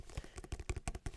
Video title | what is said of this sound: ASMR Book Haul - Tapping, Scratching, Rubbing book triggers. | And as you can hear, it makes some really nice soft tapping sounds of this book, because it's a paperback book with a nice matte cover, so nothing too loud